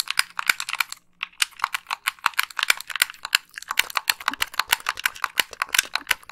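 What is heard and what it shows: Long nails tap and click the buttons of a white, hollow, wired plastic game controller. The result is a rapid, uneven run of dry, bright plastic clicks with almost no ring or low end, and a short pause about one second in.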